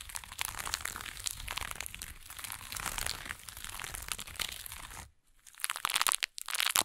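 A small burlap jute pouch resting on a fur blanket is scratched and rubbed with long acrylic nails and fingertips. It gives a dense, bright, crinkly scratching with a faint low rumble underneath for about five seconds. After a brief near-silent pause, sharper bursts of high, raspy scratching follow.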